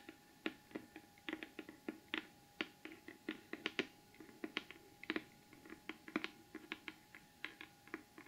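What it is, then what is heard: Cardboard gift box, tapped. Long acrylic nails tap rapidly on the lid of a large, flat, closed cardboard gift box covered in gold glitter paper, which is rigid and hollow. About thirty quiet, dry, separate clicks each have a hollow low-mid body and a bright tick with no ring. A faint steady tone hums underneath.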